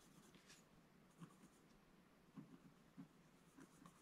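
A wooden scratch stylus scratches fine lines into the black coating near the bottom of a scratch-art page in a book lying flat on a table. Quiet, dry scraping strokes repeat irregularly, with soft low-mid thumps and faint bright rasps.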